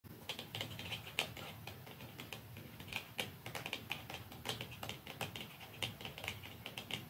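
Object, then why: Plastic mascara tube. Fingernails tap softly and slowly on a plastic mascara tube, producing a steady run of quick, light, bright clicks with almost no ring over about seven seconds, against a faint low background hum.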